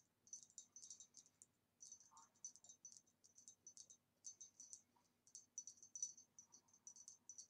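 Fingernails tap quickly on a green retro glass vase with a swirly pattern, dating from about the 1960s, in quick bursts separated by short pauses. Each tap is a bright, high, glassy click that dies away almost at once, and the vase makes a very nice tapping sound.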